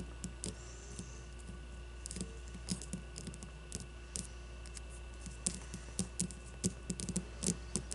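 Long blue-painted nails scratch and tap a solid leather-covered baseball with red stitching as it rests on a table. Quick, irregular dry taps and clicks with bright, crisp edges die away almost instantly, and soft scratching fills the gaps. A steady low hum runs underneath throughout.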